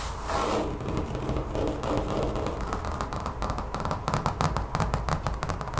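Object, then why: Textured rubber mat. Long fingernails scratch and tap across a large brown textured rubber mat lying on a table. The sound is a steady low rustle and thump, with quick taps that grow sharper and more frequent toward the end.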